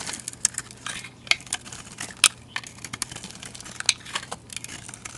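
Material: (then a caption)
Soap. A hand with long dark nails holds a solid, rounded, hand-sized white bar of soap with a green rim while a utility knife blade shaves flakes from it. The result is a steady stream of crisp, bright scraping and crinkling strokes, punctuated by a few sharper, louder clicks as the blade cuts in. There is almost no low end.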